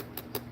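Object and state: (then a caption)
Lacquered palette case, hard surface. Two light taps on the lacquered case of a Pat McGrath Mothership eyeshadow palette, in the style of tapping a brush off. They make short, dry clicks with a slight hollow knock around 400 Hz that fade almost instantly. The lacquer gives a different tap sound from a cardboard palette.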